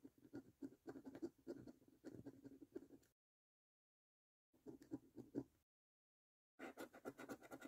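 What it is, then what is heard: Paper scratch card being scratched. A coin held in the fingers scratches the latex coating off the number area of a thin, flat printed cardboard "Bank The Cash 15" £1 million National Lottery scratch card lying on a table. Quick, short, rasping scratch strokes come in three bursts separated by silent gaps. The scratching is dry and papery, centred in the low-mid range.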